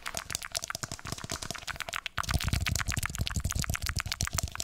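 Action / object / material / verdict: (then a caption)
tap / small plastic traffic cone / plastic / none. Fingertips rapidly tap and scratch the square base and inner rim of a small orange hollow plastic traffic cone, held upside down with its open base facing the mic. Dense, quick hollow taps with a low boomy body and bright, crisp scratchy clicks. The sound grows louder and fuller about halfway through.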